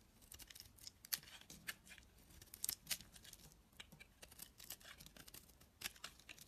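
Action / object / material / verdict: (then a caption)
scrape / translucent bar soap / soap / none. A utility knife blade shaves thin strips off a solid, dry, translucent orange-yellow bar of soap held in the hand. Quiet, bright, crisp scraping and cutting clicks come in quick, uneven bursts, with a few sharper snaps standing out and almost no low end.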